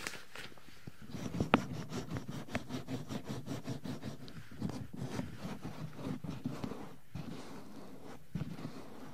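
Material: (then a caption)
Silicone. Two hands in pink rubber gloves rub and massage the hollow white silicone ear molds of a black 3Dio binaural microphone. A close, low-heavy stream of rapid rubbery rubbing and squeaky scraping strokes is heard, with a few sharper taps standing out.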